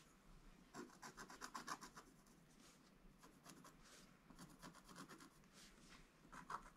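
A wooden stylus scratches strokes into a flat, black-coated scratch art page. The result is quick, dry, raspy scratching in bursts of short strokes, with a bright edge and a tone around 1.1 kHz. Brief quieter pauses separate the bursts against a low background hiss.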